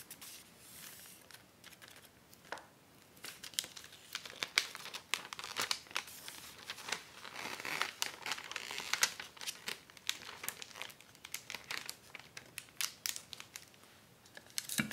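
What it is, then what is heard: Acetate book-cover sheet crinkled. A long, flat, clear acetate dust jacket protector sheet with a white paper backing lies on a wooden table while fingertips with long, dark-painted nails press, smooth and crinkle it. The result is a steady, bright crinkling and crackling with many sharp snaps over soft rustling, almost no low end, and no speech.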